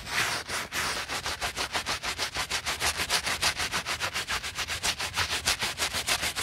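A white Adidas Yeezy Boost 350 sneaker, held in a gloved hand, is cleaned by a wooden-handled bristle brush with soap foam scrubbing the woven knit upper around the heel and collar of the hollow shoe. Rapid, steady back-and-forth strokes make a bright, hissing, foamy rasp, with each pass rising and falling in quick succession.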